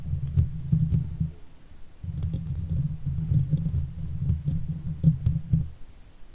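Long fake nails on both hands scratch and stroke the hollow steel mesh grille of a silver Blue Yeti microphone. The result is a dense, low, rumbling texture sitting almost entirely below 200 Hz, flecked with faint, brief high ticks. It runs in two stretches with a short, quieter gap near the 1.5-second mark.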